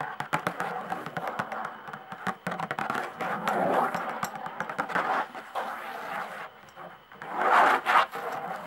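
Long nails tap and scratch across the hide head of a skin-head tambourine with a hollow wooden frame. The clip has rapid, irregular dry taps with very short ring, mixed with scratchy scraping and brief louder swells of rustling texture, centered in the mid-range.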